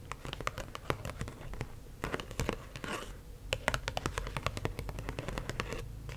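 Long acrylic nails tap and scratch the surface of a single US one-dollar paper bill held up in the air. The result is a rapid, uneven run of crisp, dry clicks with bright papery scratching and crinkling between them, each tap dying away almost instantly over a low background hum.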